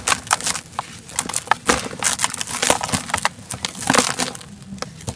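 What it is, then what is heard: Dry sand cement block crumbling. Bare fingers squeeze and crumble a large molded chunk of dry grey-brown sand cement, solid and crumbly, held over a turquoise plastic tub. Dense, bright, gritty crunches and crackles come in quick bursts as loose sand pours down onto a powder pile below.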